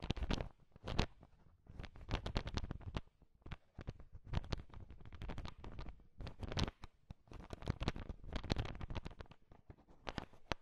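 A heap of small, hard sugar-shelled peanut M&Ms filling a bowl is stirred and tapped with a thin wooden stick, mixing the candies. Dense bursts of clicking, rattling and shifting crunch come and go in quick clusters, with a low, muffled body under sharp, bright clicks.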